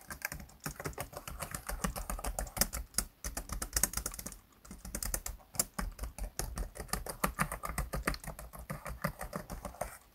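Fingertips type on and tap the keys of a black plastic laptop keyboard, producing a steady, fast stream of short, dry clicks. Each keystroke pairs a soft low thump with a bright plastic tick and dies away almost at once, with a few brief pauses between bursts.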